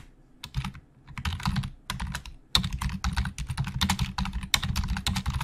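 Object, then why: Plastic computer keyboard. Fingertips of both hands type very fast on the hollow plastic keys of a black plastic Logitech full-size keyboard resting on a desk. Bursts of rapid, bright clicking sit over a low, hollow thudding, broken by short pauses before the typing resumes in a dense, steady clatter.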